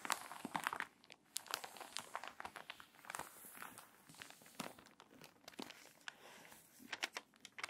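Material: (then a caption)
Paper. Long nails scratch the crinkly pages of a water-damaged paper magazine and turn them, creasing the spine. Quiet, dry, bright crackles and rustles come in quick irregular bursts with no low rumble beneath, each crinkle stopping sharply.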